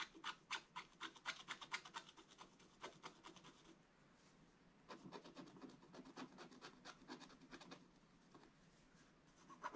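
A pointed wooden stick scratches the black coating off a thin coated scratch-art paper page lying flat on a table. Rapid, dry, bright scratching strokes come in bursts, with a quieter pause near the middle before the strokes resume.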